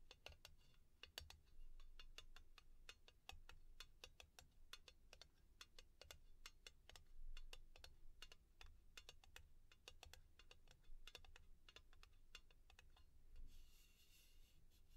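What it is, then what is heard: Thin metal tin lid. Long painted nails rapidly tap and scratch the top of a round, printed, thin, hollow, palm-sized metal tin lid held in one hand, with the open, empty tin sitting beside it. Quick, sharp, bright clicks come in a dense, irregular stream over a soft low rumble. Near the end, the tapping gives way to a hissy scratching across the lid.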